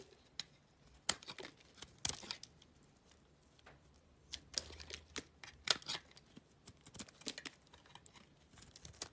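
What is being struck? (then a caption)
Soap bar scraped with a knife blade. A utility knife blade scrapes and shaves the surface of a small solid oval cream soap bar held in the hand. Short, bright, crisp scraping and crackling bursts come at an irregular pace, with quiet pauses between them. The bursts are dry and end abruptly, with almost no low end.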